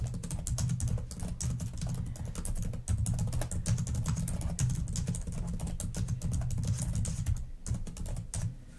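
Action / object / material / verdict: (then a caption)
tap / plastic laptop keyboard keys / plastic / none. Long nails and fingertips type and tap quickly on the plastic keys of a black laptop keyboard. The result is a steady stream of dense, short clicks and taps over a soft, low thumping body, with brief bright clicky edges that fade fast.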